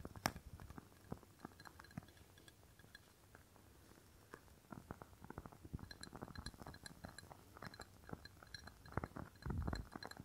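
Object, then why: Glass candle jar filled with wax. Fingernails tap on a rectangular clear glass candle jar filled with red wax, held close to the microphone. A long run of quick, dry clicks with faint bright glassy chinks comes in uneven bursts, thinning out in a quieter stretch near the middle. The tapping then picks up again, ending in a denser, louder cluster with a soft low thump.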